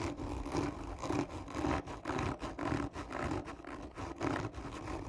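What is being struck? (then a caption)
Cardboard tube. Long nails of both hands scratch slowly and hard across the top of a hollow, black textured cardboard gift tube. Each rough, raspy stroke carries a hollow, boxy resonance, and the strokes repeat in a loose rhythm with brief dips between them.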